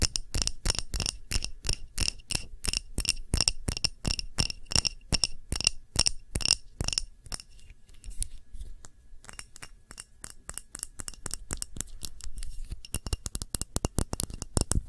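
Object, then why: Glass candle jar. Long nails tap the sides and rim of a clear glass tumbler holding a red wax candle, giving a fast, steady run of bright, clicky glass taps with a high ring that dies almost at once. The tapping thins out and softens for a few seconds in the middle, then picks back up into quick, crisp taps toward the end.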